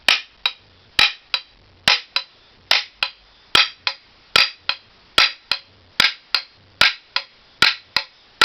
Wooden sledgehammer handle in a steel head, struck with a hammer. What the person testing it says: you can hear a solid sound when you hit it